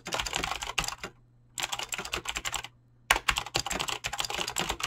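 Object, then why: Mechanical keyboard with PBT plastic keycaps. Fingertips fast-type on a mechanical keyboard with clicky green switches and PBT plastic keycaps. Rapid bright clacks come in bursts, separated by two brief pauses, and each keystroke is short and sharp with almost no ring.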